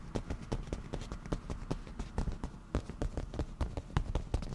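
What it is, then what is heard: Leather cushion being tapped. Black-painted nail tips tap quickly on a padded black grained leather cushion, giving a rapid string of short, dull thumps. The taps are low and soft with almost no bright ring, each one dying away almost at once.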